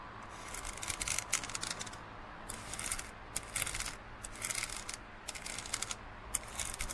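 Fingernails scratch and tap the side of an empty, hollow printed plastic cinema cup with a blue rim, held tilted. Quiet clusters of bright, crisp scratching and ticking come in short bursts with brief pauses between them, over a faint low hum.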